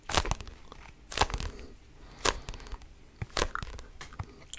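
Fingertips scratch and grip the cover and page edges of a red paperback book held close to the mic. Irregular crunchy, crinkling bursts rise and fade over a soft, papery rustle, with bright, broadband scratches that stop quickly.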